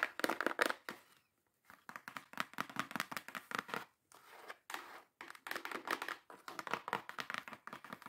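Long acrylic nails tap and scratch the top and sides of a small, hollow, closed brown kraft cardboard box. Fast, dry clicks and papery scraping come in quick bursts, separated by a few short pauses. The sound is crisp and mid-to-high, centered around 1.9 kHz, with almost no low end and no ring after each hit.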